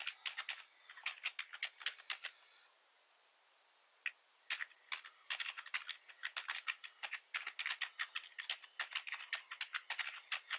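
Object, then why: Plastic computer keyboard. Both hands type fast with the fingertips on a full-size black plastic computer keyboard with red keys and a hollow body. Bright, dry clicky keystrokes come in rapid bursts, pause for about a second and a half, then resume as dense, steady typing. Each click ends almost instantly, with no low thump.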